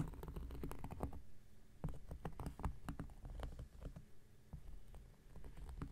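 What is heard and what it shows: The tip of an X-Acto knife blade scratches across a round, flat, solid cork coaster, giving a quiet, dense run of short, dry scrapes and ticks. The scratching is weighted toward a soft low rumble, with brief brighter clicks scattered through it and no ring after each stroke.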